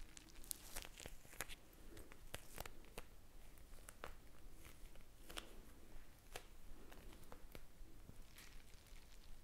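A small clear plastic eye mask filled with blue gel beads is squeezed and tapped with long painted fingernails close to the mic. Irregular sharp, bright clicks and crinkly crunches sound over a soft low rustle, each tap dying away almost instantly.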